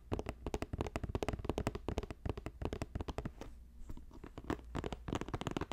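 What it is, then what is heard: Woven plastic basket. A hollow, box-shaped green basket about 20 cm across, woven from plastic strips, is held at the sides and tapped rapidly with fingertips and nails. It gives a dense stream of short, dry, hollow clicks with a low body and bright nail ticks. A brief quieter stretch of softer rustling handling falls near the middle before the fast tapping resumes.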